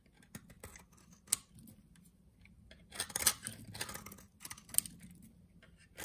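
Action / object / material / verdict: scrape / bar of cream soap cut with a knife / soap / none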